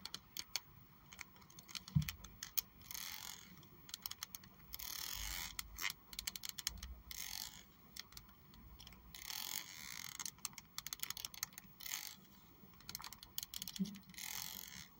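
Long acrylic nails scratch and run across the teeth of a pink plastic hair comb held close up. Bursts of bright, dry clicking and raspy scraping come in uneven sweeps, with quick ticks scattered between them and a couple of low thumps.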